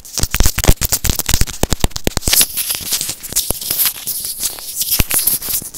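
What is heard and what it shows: A small white plastic earphone inline microphone housing, held in the fingers, is tapped and scratched with short nails. A rapid run of sharp, dry clicks with low thumps gives way to a steadier, bright crackling scratch, punctuated by occasional louder taps.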